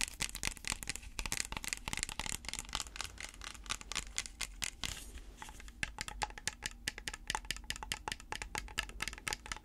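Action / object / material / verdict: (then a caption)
tap / clear plastic water bottle / plastic / none. Natural fingernails tap and scratch a small, round, hollow clear plastic water bottle holding some water, held close to the mic. Rapid, sharp, bright plastic clicks come in quick bursts, with a brief softer scratching passage near the middle. Each tap dies away almost instantly.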